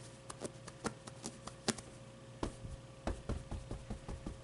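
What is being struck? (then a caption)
Stuffed plush fabric avocado toy. Fingers and nails rub and scratch the plush fabric of a medium, soft stuffed avocado plushie with a fuzzy brown pit while the other hand holds it. A series of short, soft, dull scratches and taps sounds at an uneven rhythm, each dying away almost instantly over a quiet, steady background hum.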